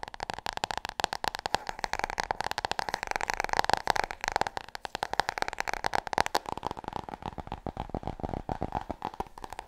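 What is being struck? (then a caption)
Glossy hardcover book. Long fingernails tap rapidly on the cover and edges of a large, solid, glossy hardcover book held in front of the chest. The dense stream of short, dry clicks carries a hollow tone around 840 Hz and a bright edge, and each tap dies away almost instantly.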